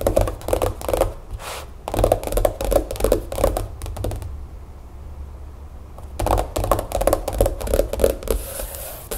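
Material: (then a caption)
Card and paper. Long acrylic nails tap quickly across the grid-patterned stiff card cover of a large, flat, spiral-bound paper planner with a solid stack of pages, lying on a wooden table, with a paper packaging sleeve on it at first. The taps are dull, papery clicks in rapid, uneven bursts that stop briefly in the middle before resuming, over a steady low hum.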